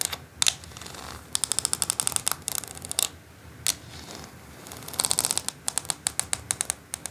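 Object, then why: Plastic quilling board. Long acrylic nails tap rapidly along the ridged slots of a flat white plastic quilling board. Dozens of sharp, bright, dry clicks come in quick bursts with short pauses, sounding much like typewriter keys. Each tap stops at once with no ring.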